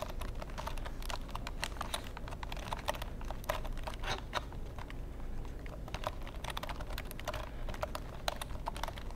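Fingertips type rapidly on a long black plastic computer keyboard held horizontally. The result is a quiet, continuous stream of short, dry clicks with bright, crisp edges over a steady low background rumble.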